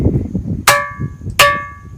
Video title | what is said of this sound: रहस्यमई पर्वत - चमत्कार देख कर रह जाएंगे दंग | आवाज बकुल घंटे की तरह आ रही है